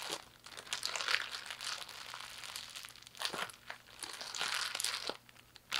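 A thin clear plastic bag, bunched into a hollow, light ball, is crumpled and squeezed by fingertips and palms with long painted nails. It makes a dense run of bright, crisp crinkling and crackling with almost no low end, swelling into louder bursts and dipping into quieter rustles. The crackles stop short with no ring.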